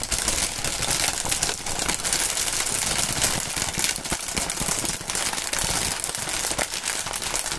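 Clear printed polyethylene air-cushion packaging film, its hollow pillows crinkled and squeezed between gloved fingertips. A steady, bright crinkling and crackling runs throughout, with dense rapid snaps and little low end.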